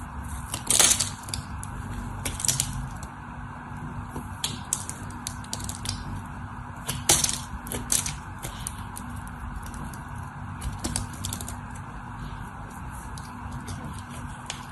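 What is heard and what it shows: A craft knife blade carves small chips out of a solid white bar of soap held in the hand, making crisp, bright scraping and crackling cuts in irregular bursts. A steady low hum runs underneath throughout, and the louder chips stand out around the first, third and seventh seconds.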